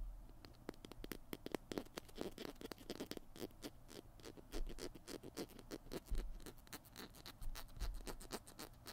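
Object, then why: Plastic glue stick. Fingernails scratch along the barrel and cap of a small white plastic PiT glue stick held horizontally, producing a rapid series of dry, crackly scratches and light taps. The strokes are short and bright with no ring, scattered densely across the clip over a quiet low background.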